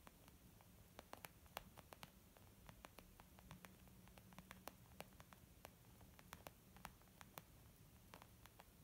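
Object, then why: Leather zip makeup bag. A flat, hollow white textured leather zip makeup bag is tapped with the long painted nails and fingertips of both hands. About 35 quiet, quick, dry clicks and taps land in an irregular patter, each stopping almost instantly over a steady low hiss and hum.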